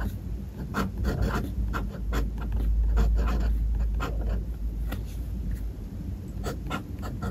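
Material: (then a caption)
Paper. A steel-nibbed fountain pen scratches handwritten characters across a white paper notebook page resting on a desk. Short, dry scraping strokes come in quick, uneven bursts over a steady low hum, with each stroke's scratch rising brightly above the rumble.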